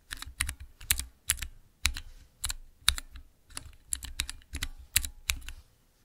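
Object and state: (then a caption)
Mechanical keyboard switch tester. Fingertips press the transparent keycaps on a small clear acrylic Cherry MX mechanical keyboard switch tester. They make a rapid, uneven run of crisp, bright clacks, each with a soft low thump underneath. Every keystroke dies away almost instantly between presses.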